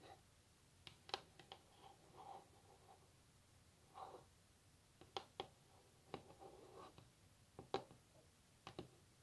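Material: Wood.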